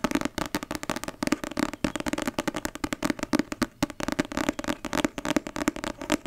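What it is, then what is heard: Paperback book. A thick, solid paperback novel with a glossy card cover is held in one hand and tapped rapidly on its cover and spine with long red nails. The result is a dense run of quick, dry clicking taps that die away almost instantly, with a papery, mid-range body around 290 Hz.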